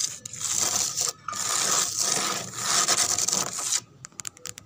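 Long pink fingernails scratch rapidly back and forth across a large, flat, brown-painted wooden board whose peeling, cracked paint exposes pale wood. A bright, dry, hissing scrape runs almost continuously, with one brief pause just after the first second. It ends in a few quieter, sharp taps and ticks.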